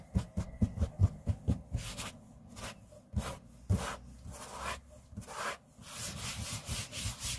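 Fingertips and short nails of both hands rub, brush and scratch across a large, flat, solid grey laminate tabletop. A quick run of short, dull, low thumps gives way to soft, breathy scraping swells with a bright, hissy edge.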